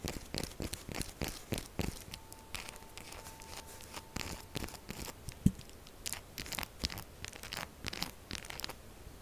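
A held, solid pink-purple textured soap bar is scratched fast and hard with long acrylic nails. The result is a dense run of dry, crunchy scraping strokes with a bright, tearing edge and no lingering ring. A faint steady tone runs underneath for a few seconds in the middle.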